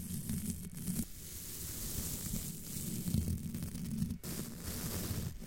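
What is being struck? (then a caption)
Metal wire-mesh microphone grille. A curved black tool with a small tip brushes and rubs across the top of the domed, hollow, roughly fist-sized black metal wire-mesh grille of a condenser microphone. It makes a continuous scratchy, rustling rub with a heavy low rumble and a faint bright hiss, swelling and dipping briefly as the strokes change.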